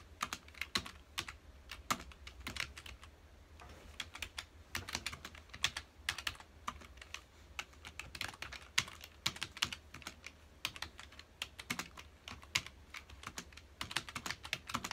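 Fingertips of both hands rapidly press the keys of a full-size black plastic computer keyboard resting on a dark desk. A dense, steady stream of short, bright clicking taps continues for the whole clip over a faint low hum, with each tap dying away almost instantly.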